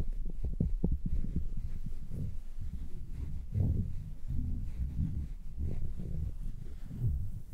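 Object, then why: Padded synthetic-fur earmuffs. Fingers squeeze and rub the padded muffs of red synthetic-fur earmuffs resting on a mannequin head. The result is a deep, muffled rumbling, with soft low thumps and throbbing pulses, almost no brightness, and a steady, close sound throughout.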